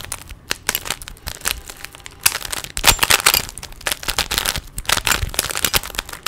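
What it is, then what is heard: Plastic 3x3 Rubik's cube being twisted. A small, solid plastic 3x3 Rubik's cube is held in both hands while its layers are twisted rapidly with the fingers. The result is a dense stream of sharp, bright plastic clicks and crackling clacks that die away almost instantly, with louder bursts of turning in the middle and later in the clip.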